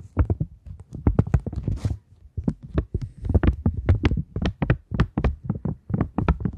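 A polymer £20 banknote, held up in both hands, is tapped and scratched with long nails. A quick, uneven run of short, dull, low taps with almost no ring is heard, broken by a brief bright scratch near the two-second mark and a short pause after it.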